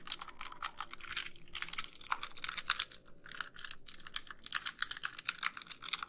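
Long nails tap and scratch the back of a white, hollow plastic handheld game console. A rapid, uneven stream of crisp, bright clicks mixes with brief scratchy rasps, with little low end and each sound stopping short and dry.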